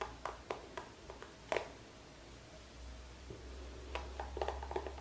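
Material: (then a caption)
Plastic. Fingertips and nails tap and scratch a small, hollow, squeezable green plastic cosmetic tube held close in both hands. Quick, light, hollow taps with a midrange knock die away almost instantly, with a quieter scratching stretch in between. A steady low hum runs underneath throughout.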